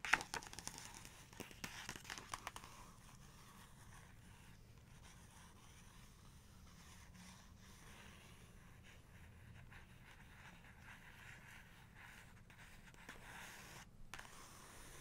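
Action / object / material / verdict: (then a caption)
scrape / paper page of a photo book / paper / none. Long-nailed fingers rub and scratch along the paper page edge of an open photography book spread on a fur rug. The first few seconds are busy with crisp, crinkly scratches and sharp little ticks, then the sound settles into a faint, steady papery rubbing for the rest of the clip.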